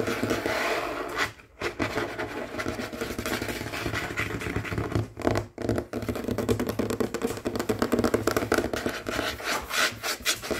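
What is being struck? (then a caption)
Wooden tabletop. Both hands, with rings on the fingers, rapidly tap and scratch a large, solid, dark wooden tabletop using fingertips and short nails. The result is a dense, continuous stream of scratchy rubbing and quick taps with a woody midrange body. Brief silent gaps fall near 1.5 seconds and again around 5 to 6 seconds.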